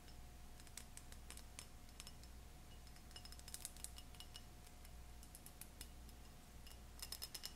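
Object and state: Cut glass tumbler.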